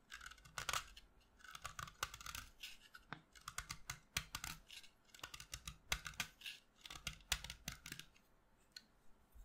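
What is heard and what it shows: A solid pastel green chalk stick, held in the fingers, is carved and scraped with a utility knife blade over a pile of chalk dust. Quick, dry, bright scratching strokes come in irregular bursts, each one short with no ring, and faint low rumbles sit between them.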